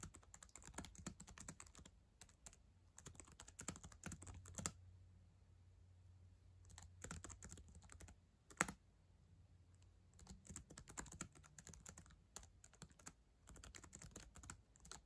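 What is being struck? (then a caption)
Plastic laptop keyboard. Long acrylic nails and fingertips type on the plastic keys of a black ThinkPad laptop keyboard, a solid device. Quick, dry, bright clicks and taps come in dense bursts, with quieter gaps around the middle and a faint low hum underneath.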